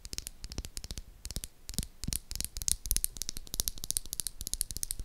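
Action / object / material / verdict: tap / bar of soap tapped and scratched with fingernails / soap / none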